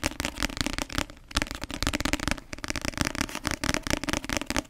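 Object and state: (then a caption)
Paperback book. Long nails tap rapidly on the glossy cover of a paperback novel, making a dense stream of crisp, dry clicks. The taps are short and bright with a light low thump beneath, and they pause briefly after about a second before continuing.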